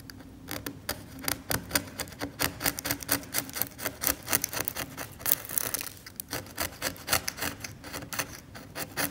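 A metal scalpel scrapes the old varnish layer off the flat, solid surface of an old oil painting in short, repeated strokes, flaking off chips. Each stroke gives a dry, bright, raspy scrape that stops quickly with no ring, in a steady rhythm throughout.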